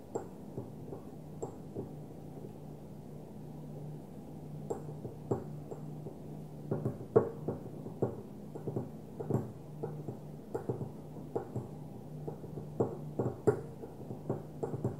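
A small, opaque white glass perfume bottle lies on its side, held steady by one hand while the long nails of the other hand tap on it. The taps are soft, short and dull, with a faint ring around 430 Hz. They come in irregular bursts over a steady low hum, with almost no bright high end.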